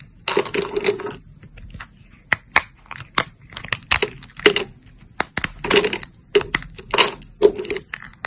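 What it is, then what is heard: Dried soap plates snapping. Thin, solid cream-colored dried soap plates are bent and snapped into shards with fingertips and long nails. Bursts of crisp, bright crunching and crackling alternate with sharp, isolated snaps, some carrying a faint mid-pitched ring, between quiet pauses.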